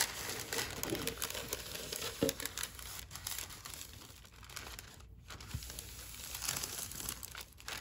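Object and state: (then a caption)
Tissue paper being crinkled. Thin pink metallic tissue paper on a table is lifted, folded and creased with both hands, with fingertips and long nails crinkling and rubbing the sheet. The result is a steady, irregular stream of bright, crisp crinkles and soft rustling, a little louder at first and quieter toward the middle.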